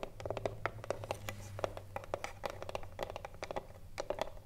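Long nails tap and scratch across the top edge and front of a hollow wooden cigarillo box standing upright. A rapid, irregular run of dry, clicky taps, each ringing briefly with a hollow woody tone near 570 Hz, is mixed with soft scratching over a faint low hum.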